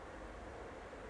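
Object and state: Nothing is struck.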